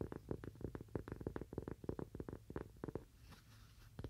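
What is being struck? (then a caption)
Cork coaster. A thin, solid, toast-shaped cork coaster about the size of a palm, held upright in both hands, is tapped with the fingernails of both hands. The taps are quick, soft and dull with a low, muffled body and no ring, coming in irregular bursts before a brief quiet stretch and a couple of final taps.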